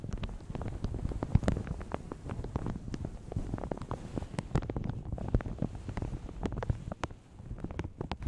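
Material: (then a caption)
Plastic. Fingertips and long nails crinkle and rub a light blue plastic shower cap stretched over a large hollow microphone. The result is a steady stream of soft, sharp crackles and ticks over a dense, muffled low rumble, easing briefly near the seven-second mark before picking up again.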